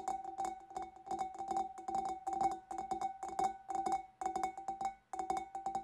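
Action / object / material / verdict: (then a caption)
tap / glass fish bowl / glass / none. Long nails on both hands tap rapidly and irregularly on the sides of the bulb of a large, empty, clear glass fish bowl. Each burst of bright, clicky taps brings out a steady hollow ringing tone around 750 Hz that dies away quickly between flurries.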